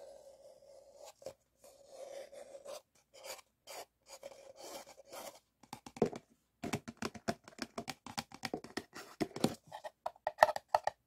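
An empty, hollow white paper cup is held and turned in both hands while fingertips and nails rub and scratch its paper wall, with a stack of cups sitting untouched nearby. The first half is a soft, continuous rasping rub with a steady midrange tone near 600 Hz. It then turns into sharper, louder scratches and quick dry strokes that come in rapid bursts with brief pauses between them.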